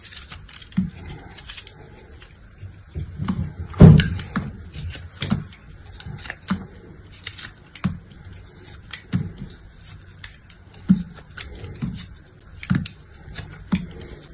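An orange utility knife cuts and scrapes crumbly pieces off a solid, palm-sized chunk of dried soap, held in the hand, with a dark glittery coating and a pale inside. Short, dry crunching scrapes come in scattered bursts, mostly low and dull with faint bright edges, and the loudest cut lands near the fourth second. Each scrape dies away almost at once, with quiet pauses between them.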